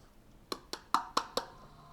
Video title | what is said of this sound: 1st Grade Science: What makes sound louder or quieter? | I can barely hear that.